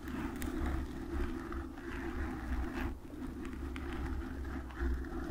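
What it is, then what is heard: Foam microphone windscreen scratched. Long acrylic nails cover and scratch a black foam microphone windscreen. The result is a continuous, muffled, bass-heavy rustling and scraping with a deep low rumble and very little high-end detail.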